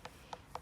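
Three taps on the lower section of a brownstone gravestone tablet give short, hollow knocks centered near 900 Hz that die away almost at once. The hollow sound marks internal delamination from rising damp, which is why pressure from gravestone rubbings could crack and break off pieces of the stone.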